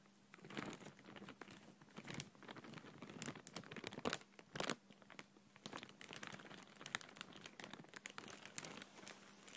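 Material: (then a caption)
Plastic film. An empty clear plastic bag, held in one hand, is crumpled and rubbed with the fingertips. It gives a continuous, soft, dense crinkling with brief louder crackles and a bright, airy hiss, while a faint steady low hum runs underneath.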